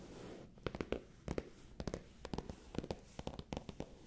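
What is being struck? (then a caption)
Faux leather cosmetic pouch. Long painted nails and fingertips scratch and tap the surface of a medium-sized, soft, hollow, pale pink faux leather cosmetic bag held against the microphone. The result is a quiet series of short, crisp clicks in uneven clusters, with a dull, hollow body around 480 Hz over a soft rustling scratch.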